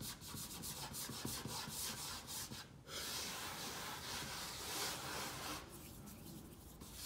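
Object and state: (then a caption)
Wooden tabletop. Fingertips and nails of both hands tap and scratch quickly on a solid butcher-block style wooden tabletop with some loose soil on it. The result is a bright, dense scratching and rubbing sound with rapid light taps, a brief dip near the three-second mark, then steady scraping until the end.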